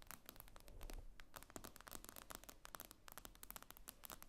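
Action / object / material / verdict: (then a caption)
tap / tablet glass screen / glass / none. Long nails tap quickly on the glass screen of an iPad lying flat. The sound is a rapid, irregular run of short, bright clicks that die away almost at once, over a faint low rumble.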